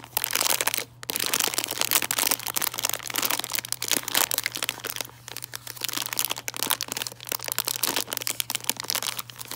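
A full, printed plastic candy bag of chocolate Santas is squeezed, crinkled and scratched with long nails. It makes dense, bright crackling and crinkling that runs almost continuously, with brief pauses near the first and fifth seconds. A faint steady low hum sits underneath.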